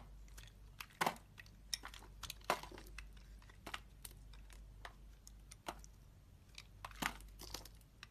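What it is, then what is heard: Bar soap being carved. A solid red and white striped bar of soap, held in the hand, is carved into flakes with a metal utility knife blade. Crisp, dry scraping and crunching cuts come in quick succession, with three louder strokes standing out. A low, steady hum runs underneath.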